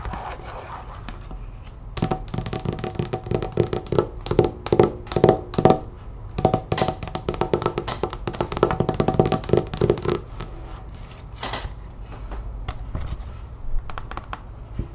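Long white-painted nails tap rapidly on a thin, flat, solid cardstock art print card with a chalkboard "You make all things new" design; it lies on a wooden table and is sometimes picked up. The result is quick, dry, dull taps with a low-mid tone and almost no brightness, and each tap dies away almost at once. The tapping comes in dense bursts, busiest from about 2 to 10 seconds, then softer and sparser.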